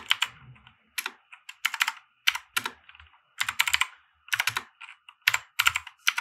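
Both hands type with their fingertips on a compact 60% mechanical keyboard with white plastic keycaps and RGB lighting, which sits on a felt desk mat. Quick bursts of sharp, bright, clacky keystrokes come in uneven runs with short pauses between them. Each stroke is crisp and dies away almost instantly, with a tone centred around 3 kHz.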